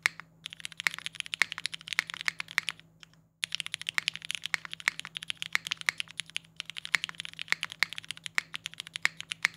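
Fast two-handed fingertip typing on a compact mechanical keyboard with a polycarbonate case and ABS keycaps (Singa Kohaku PC R2 with GMK Boneyard keycaps). Dense, bright, clicky keystrokes rattle along with a short pause midway.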